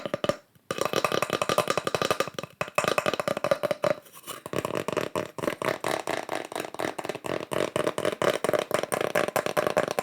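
Fingertips tap quickly on small wooden slices with the bark still on, each decorated with burned pyrography mushroom art. The result is a rapid stream of dry, hollow, woodblock-like clicks with a mid-pitched tone near 560 Hz and almost no ring. There is a brief pause near the start and a short lull around four seconds.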